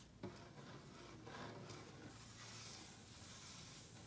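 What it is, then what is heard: Wooden tabletop. Fingertips and short nails tap and scratch a large solid wooden tabletop, with fast tapping from both hands. A single sharp knock near the start gives way to a steady, soft rasping scrape that continues to the end.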